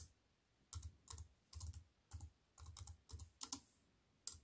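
A slim wireless keyboard with a silver aluminium frame and black plastic chiclet keys, resting on a wooden table, is typed on with fingertips that have long, white-painted nails. Irregular bursts of quick, soft key taps are heard, each with a low thud and a bright plastic click. The taps are separated by short quiet pauses, and a faint steady hiss sits underneath.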